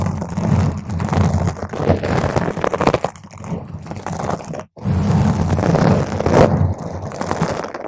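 A round purple foam microphone cover is scratched and clawed with long nails from both hands, producing a dense, continuous rustling crunch heavy in low rumble. The scratching runs steadily with brief dips, cutting out almost completely for a moment near the end before resuming.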